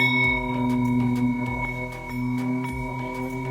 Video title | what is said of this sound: Ep 84 Installing Edson Single Upright Sheave Part 1 | if it sounds like a good bell tone like like a bell